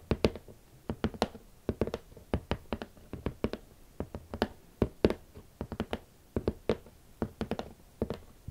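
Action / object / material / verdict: tap / rigid cardboard shoe box / cardboard / none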